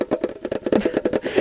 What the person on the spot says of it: And this tin is hollow. It's hollow.